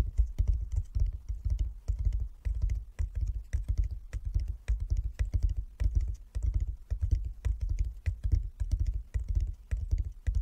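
Fingertips of both hands tap on a flat wooden chess board with light and dark inlaid squares lying on a table. A rapid, uneven patter of soft, dull taps carries a deep low thump, each tap dying away almost instantly.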